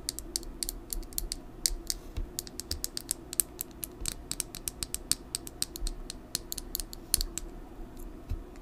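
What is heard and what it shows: Long nails tap rapidly on a full, small red lip gloss tube with a clear plastic body and metallic cap, held in a hand. Dozens of sharp, bright clicks with no ring fall in quick, uneven runs over a faint steady low background hum.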